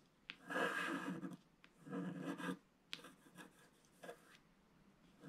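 A wooden stylus scratches a flat, black, wax-coated scratch-art paper sheet in short strokes. Two longer, dry, raspy scrapes are followed by several shorter, quieter scratches, with gaps of near silence between them.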